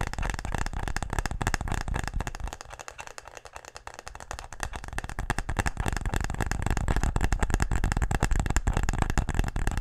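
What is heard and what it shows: A wooden tic-tac-toe case is tapped quickly and aggressively, giving a dense, uneven stream of short, dry knocks with a deep, thumpy body and little ring. The tapping eases and softens for a couple of seconds partway through, then returns at full pace and loudness.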